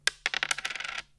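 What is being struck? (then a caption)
Agate guitar pick dropped on a table. An old Pink Gin agate stone guitar pick from Stone Age, about 3–4 mm thick, is dropped on a table. It gives a sharp, bright click followed by a quick rattle of bright bounces that dies out within about a second. It sounds like stone: firm, but not a hard plasticky snap.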